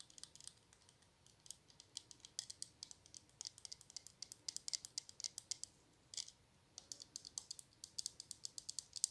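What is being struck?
Small glass perfume bottle with plastic cap.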